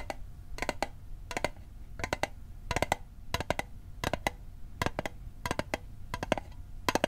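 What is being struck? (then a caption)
Small metal mint tin. A small, hollow metal Altoids mint tin, held on its edge, is tapped with fingertips and nails in quick clusters. Each tap is a short, dry click with a faint metallic ring around 620 Hz and bright edges. The taps come in uneven bursts and pauses over a low background hum.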